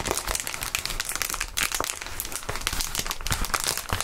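Clear plastic bubble wrap is rubbed on the mat, then lifted and crumpled by gloved hands. A dense, continuous crinkling fills the clip, bright and hissy, with many sharp crackles and snaps and some low rustling thumps underneath.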